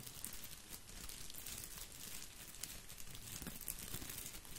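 Fingers rub and scratch the plastic leaves of an artificial boxwood topiary ball held close to the microphone. A steady, dense crinkling rustle with bright, crisp edges runs throughout, over a soft low rumble, with a few sharper scratchy ticks poking out.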